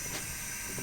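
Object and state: Nothing is struck.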